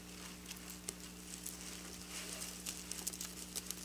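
Long black nails on both hands scratch and rub across the rows of a flat piece of silver plastic sequin fabric lying on a surface. The result is quiet, bright, crisp ticking and rustling with several sharper clicks, over a steady low hum.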